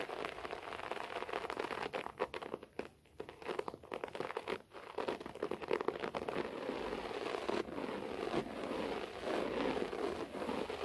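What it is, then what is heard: Short-pile carpet being scratched. Long natural fingernails and fingertips on both hands scratch and rake the fibers of a low-pile cream/beige floor carpet lying on a flat, solid surface. The result is a dense, continuous crackling and rustling scratch, centered in the mids with little low end. It dips briefly quieter around the three- and four-and-a-half-second marks before settling into steady, even raking.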